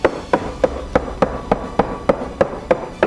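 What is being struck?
Wooden house framing.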